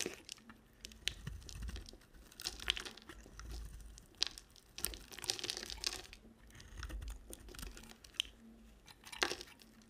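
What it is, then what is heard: Bar of soap being carved. A small black-handled knife shaves and scrapes curls and flakes off a solid, palm-sized white bar of soap with a red and white printed coating, held in one hand with long black nails. The clip is a run of quiet, close, bright crackling and crunchy scraping strokes with sharp, dry bursts and a faint low rumble beneath.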